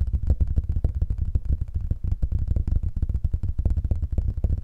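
A small black vinyl record with a red-and-white centre label, a thin solid disc, is held up close to the microphone while fingertips appear to tap it. A dense, steady run of dull, muffled low thumps follows, each dying away almost at once, with almost nothing bright or high in the sound.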